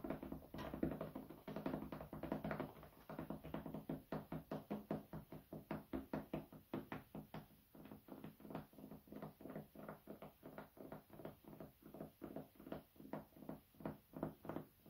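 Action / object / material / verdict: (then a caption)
tap / wooden cutting board / wood / none. A flat, light-colored, medium-sized solid wooden cutting board, held horizontally, is tapped and knocked with fingertips. It gives a long, uneven run of quick, dull, woody knocks with a mid-low tone and almost no ring. The taps are dense and overlapping at first, then become more separate and evenly spaced.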